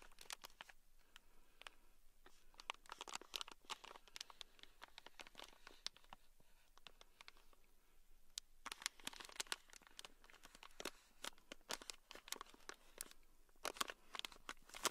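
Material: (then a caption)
Plastic. A small, full, sealed clear plastic bag packed with tiny gold beads is held in the palm and scratched and tapped with a thin black stick. The result is a quiet, steady stream of bright crinkling and scratching, with sharp clicks and rattles from the beads.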